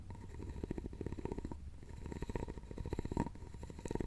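A thin wooden stick scrapes across a round, hollow, openwork carved wooden jewelry box, making a quiet, dry, rapid ticking rasp. The scraping has a low, rumbling body with a faint steady tone near 1 kHz, and each tick dies away almost instantly.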